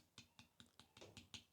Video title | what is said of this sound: DON’T MESS THIS UP! ❌ How to Fill Dents LIKE A PRO | you can even hear that sounds hollow, like it hasn't adhered.